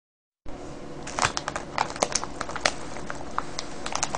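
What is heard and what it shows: A clear plastic cellophane gift bag full of small foil-wrapped sweets, with a red paper tag and yellow ribbon, lies on a wooden table while fingertips and short nails squeeze and scratch it. After a brief silence, a steady, dense crinkling and crackling starts, broken by sharp, bright snaps of the wrapping throughout.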